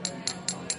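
The bottom of a ceramic mug filled with cold, bubble-free water is tapped four times before any Alka-Seltzer is added. Each tap gives a short, bright, high-pitched clink that fades quickly. This sets the higher baseline tapping note of plain water without bubbles.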